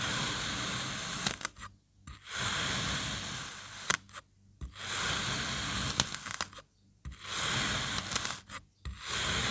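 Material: Kinetic sand.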